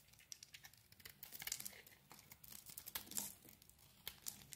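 A knife blade scrapes and shaves a solid oval green soap bar with a dark coating, held in the palm. The quiet, bright, crinkly scraping comes in short irregular bursts with a few sharper shaving strokes and almost no low end.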